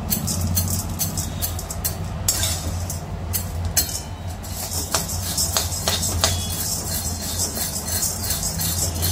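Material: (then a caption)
Lentils. Dry-roasted lentils (dal) for chakli bhajani are stirred in a pan over low heat, light pink and not burnt. The lentils give a bright, ringing rattle of repeated clinks over a steady low hum. The ringing rattle shows the dal is roasted enough.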